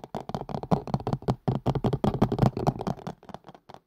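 A hollow, empty green and white collapsible colander with a plastic base and silicone sides, tilted near the mic, is tapped quickly with fingertips and nails. The result is a rapid, uneven run of dull, hollow taps with a low, boomy body and very short decay.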